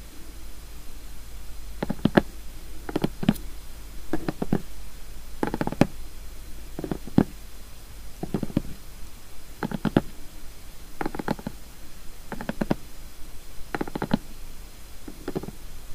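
Long painted fingernails and fingertips of both hands tap and scratch the lid of a large, flat cardboard emergency-food gift box. The box is closed, still in clear plastic shrink wrap, and lying on a wooden table. Short, dull, low taps come in quick, evenly spaced bursts over a quiet background, each dying away almost instantly.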